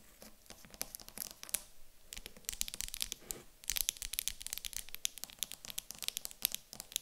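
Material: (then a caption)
Wood. Long acrylic nails tap and scratch across the top of a small, solid, light wooden cube standing on a table. The result is a dense run of quick, dry clicks and bright, crisp scratching with almost no ring. There is a brief quieter lull around the two-second mark.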